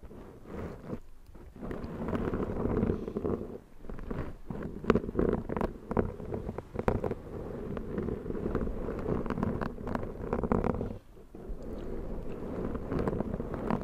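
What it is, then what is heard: Foam microphone windscreen. Long, black, pointed nails on both hands scratch and rub the black foam windscreen of a Zoom microphone. The result is a dense, continuous rustle and crackle, heavy in the low-mids, with many short scratchy bursts and brief quieter pauses.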